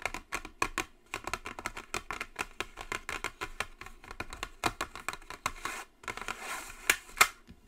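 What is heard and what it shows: Long nails tap the top and edges of a flat white Jisen cardboard cosmetic box in a steady stream of quick, dry, bright taps with almost no low end. Near the end comes a brief soft scratchy stretch, then two sharper, louder taps.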